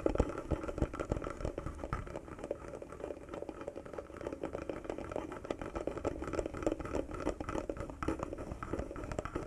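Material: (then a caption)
Wood. A small carved wooden box with a metal latch is tapped and scratched by fingertips and short nails across its carved wooden surface. A dense, continuous run of soft, dry taps and scratchy clicks with a warm woody tone continues throughout at a low level.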